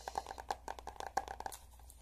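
Fingertips and nails tap and scratch the glossy laminated cardboard cover and page edges of a small pink spiral-bound notebook with a dog picture on it, held in one hand. About a dozen quick, crisp taps mix with dry, crinkly scratching, each tap a short, dull mid-pitched knock with a bright click that stops almost instantly. The tapping trails off into faint scraping at the end.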